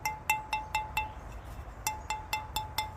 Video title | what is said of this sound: Unloading the Barrel Kiln | this one's ringing a bit better